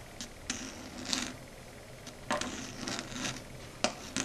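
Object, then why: Chalkboard tapped and scraped with long nails. Long red acrylic nail tips tap and scrape across a flat dark grey chalkboard surface. Short, dry clicks and brief scratchy strokes come at irregular intervals, bright and hissy with a faint low hum beneath. Each sound dies away almost instantly.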